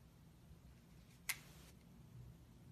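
A hand-sized, solid rectangular bar of black-and-white striped soap is held in the hands and scratched and crumbled at its top edge with long red-painted nails and fingertips, so shavings flake off. A single short, bright, crisp scratch rises briefly above a quiet low background hum and fades almost at once.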